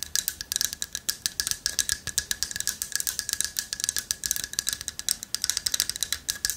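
A hand-sized, light-wood carved owl figurine with a hollow latticework body and a loose carved piece inside is held in both hands, tapped with long nails and shaken. The inner piece rattles in quick, dry, bright clicks, densely packed and closely spaced. A faint steady tone runs underneath.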